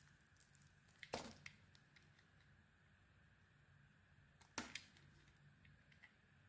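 A small metal blade held in the fingers scrapes and shaves a solid, hand-sized cream bar of soap with a black edge. Two louder, bright crisp scraping bursts stand out over a quiet, hissy background, surrounded by light ticks and clicks.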